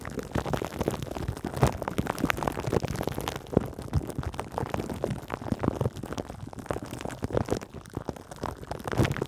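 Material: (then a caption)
Plastic film. Long green acrylic nails on both hands scratch and tap the metal mesh grille of a Blue Yeti microphone wrapped in clear plastic cling film. The result is a dense, continuous run of crinkly, crackling scratches and soft taps, heavy in the low end with little high brightness.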